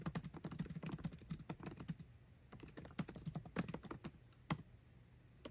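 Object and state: Laptop keyboard with plastic keys in an aluminum body.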